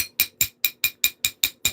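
A cracked obsidian piece is tapped before knapping, giving eight quick, sharp, bright clicks centered around 2.4 kHz, following the tail of an earlier one. Each click is dry, with almost no ring or low end. The taps sound wrong because of a hidden crack, and the piece then breaks along it.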